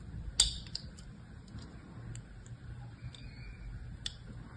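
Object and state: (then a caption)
Soap bar being carved. A thin blade scratches and carves lines across the surface of a solid, palm-sized blue soap bar held in one hand. Three sharp, bright clicks stand out, with fainter scraping ticks between them over a quiet low rumble.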